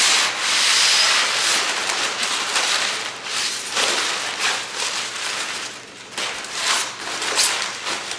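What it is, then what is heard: Crumpled kraft paper. Large, thin, flexible sheets of empty brown kraft paper are held in both hands above a wooden table while fingers with painted nails squeeze, crumple and rub them. The result is a continuous, bright, crackling crinkle with almost no low end, its loudness swelling and easing in uneven waves throughout.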